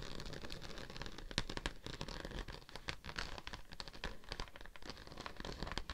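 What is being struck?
Embossed plastic sheet.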